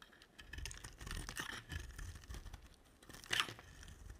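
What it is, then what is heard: Dry soap bar being shaved. A black utility-knife blade scrapes and shaves strips off the top of a dry, solid, rounded-rectangular white soap bar with dark speckles, about palm-sized and held in one hand. The result is a series of dry, crunchy, scratchy rasps with a bright edge, ending in a sharper, louder scrape near the end.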